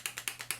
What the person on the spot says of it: I don't know what is moving around in there but something's happening